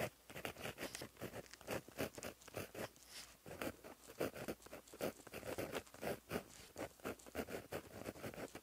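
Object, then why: Gel pen tip on a paper notebook page. A plastic-barrel gel pen with a metal tip, held in the fingers, writes across a flat black lined paper notebook page lying as a solid sheet on a surface, scratching the tip along the paper. A quick, uneven series of short, dry scratchy strokes comes in bursts, with a light papery rasp that stops sharply after each stroke.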